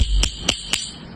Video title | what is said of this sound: Kena ada kepekaan bunyi yang tinggi.. #defectinspection #hollowness | Oh, nampak korang boleh dengar kat situ. Ni tandanya hollow tiles guys.